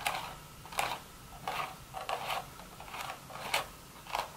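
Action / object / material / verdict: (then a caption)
scrape / woven straw hat / straw / none. Long red nails scratch the weave on the crown of a hollow, empty woven straw hat. Seven short, dry, bright rasping strokes come at an uneven pace, each centered in the mid range with a crisp high edge and almost no low end. Each stroke dies away quickly with no ring.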